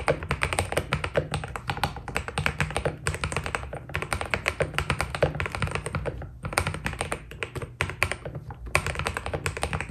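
Fingertips of both hands type steadily on a white Keydous NJ80 mechanical keyboard with PBT plastic keycaps. A dense, continuous stream of short, crisp key taps with a deep, low thock underneath, each stroke dying away almost instantly. The rhythm stays busy throughout, with brief dips and occasional louder strokes.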